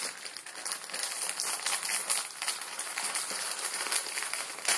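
A plastic instant ramen packet, its film wrapped around dry noodles, lies on a wooden table and is rubbed and crinkled with the fingertips, then squeezed. The result is a steady, bright, crackly rustle with many small crinkles running together, almost no low end, and the loudest bursts near the end.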